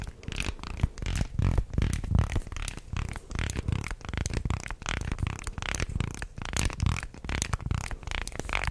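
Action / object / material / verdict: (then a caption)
shake / segmented wooden fish toy / wood / none. A small segmented fish toy made of light wood slats is bent, shaken and wiggled by hand close to the microphone, so its segments clack together. The result is a dense, continuous run of quick, dry wooden clicks and rattles with a heavy low thump, rising and falling in uneven bursts without any ring.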